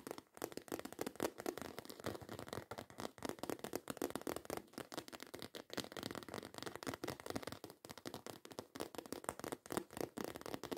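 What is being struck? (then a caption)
Croc-embossed faux leather handbag. Long white coffin-shaped acrylic nails rapidly scratch and tap a black croc-embossed faux leather handbag in close-up. The result is a dense, continuous stream of quick, dry scratchy strokes, with most of the energy in the low-mid range around 300 Hz. Every stroke dies away almost at once.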